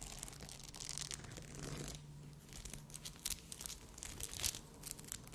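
Long red nails scratch and tap a rhinestone-covered bikini cup with glass crystals sewn onto the fabric. The result is a dense, bright crinkling rasp full of quick clicks and small ticking taps, over a faint low hum.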